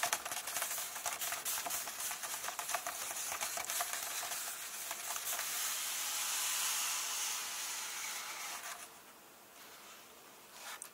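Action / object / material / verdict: tap / paper pages of a softcover book / paper / none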